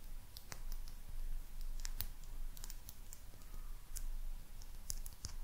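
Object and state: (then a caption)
Glazed ceramic lucky cat figurine tapped with nails. Long nails tap the glaze of a small, hollow glazed ceramic maneki neko lucky cat figurine. The result is a series of sharp, bright, quickly fading clicks over a steady low hum.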